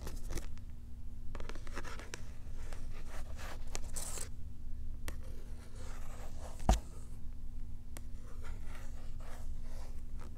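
A small cardboard-backed plastic blister pack with a cat toy inside is held up while long nails scratch across the cardboard and plastic. Quick, dry scratching and crinkling strokes come in bursts over a steady low hum, with one sharper tap standing out partway through.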